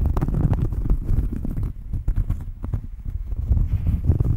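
Long fingernails scratch the surface of a round, flat cork coaster held just in front of the microphone. The result is a dense, muffled, low rumbling scrape made of quick, dry strokes that keep up almost without a break, with a brief quieter dip near the middle.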